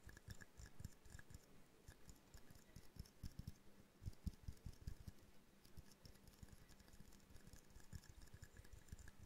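A small hollow glass jar snow globe ornament with a winter scene inside is tapped with the long nails of both hands. The result is a quiet, steady stream of rapid, irregular taps: dull low knocks with faint bright clicks on top, each dying away almost at once.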